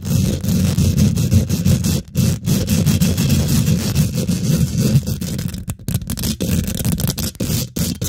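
Long nails and fingertips on both hands rapidly scratch and tap the domed, hollow woven metal mesh grille of a large silver condenser microphone. The result is a dense, boomy rumble of scraping and rustling, heavy in the low end with a faint high hiss, broken by a few brief dropouts.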